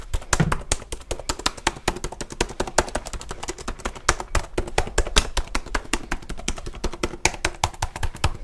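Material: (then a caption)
Plastic. Fingertips tap fast and hard on the keys of a black plastic HP laptop held tilted. Dozens of sharp, dry plastic clicks come in a quick, uneven stream, each one short with no ring, with some louder hits standing out.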